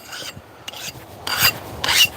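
A file is skated across a newly quenched steel knife blade in four high-pitched, bright rasping strokes. The blade is confirmed hard, so the hardening worked.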